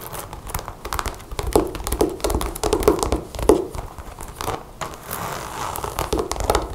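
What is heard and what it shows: Long blue-painted nails handle the metal zipper of a dark brown leather (or faux leather) jacket with snap buttons lying flat on a table, then fast-tap and scratch the leather surface. The result is a dense run of soft, dull thuds and clicks with brief crinkling scratches, mostly low and mid in tone, each tap dying away almost at once.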